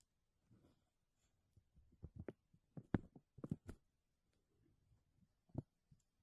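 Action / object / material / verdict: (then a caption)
scrape / thin clear plastic bag / plastic / none. A thin, clear plastic bag draped over a mesh dome is rubbed and scratched with fingertips and nails while the other hand holds its edge. The result is quiet, irregular crinkling and scratching with sharp, brief clicks. A denser cluster of crackles comes in the middle, and softer rustles follow at the end.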